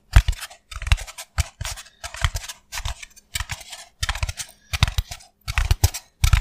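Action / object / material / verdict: scrape / expanded polystyrene foam block / polystyrene foam / none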